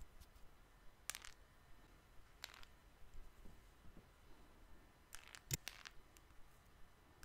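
Fingertips and nails tap on the glass and metal surface of a small, flat, solid smartphone held in one hand. The result is a scattered series of short, dry, bright clicks with almost no ring, some in quick clusters, over a quiet, low background hum.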